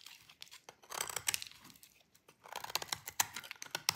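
A metal utility blade scrapes a thin, solid piece of dry green bar soap, and fine shavings fall off. The scraping comes as quick, bright, crisp crackling bursts with a short pause in the middle, dry and with almost no low end or ring.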